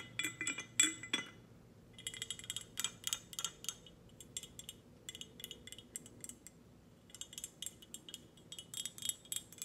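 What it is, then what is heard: Glass tumbler. A glass tumbler is tapped in quick, irregular bursts, giving bright, short clinks that ring only briefly, with soft pauses between the clusters. The taps come in uneven groups over a quiet background, with no talking.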